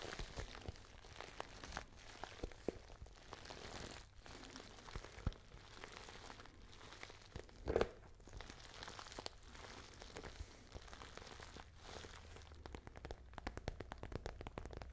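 Fingernails scratch and tap on a small, pale pink, glossy patent faux leather handbag. Quiet, crinkly scraping runs throughout with scattered soft taps, a louder tap near the middle and a steady low hum underneath.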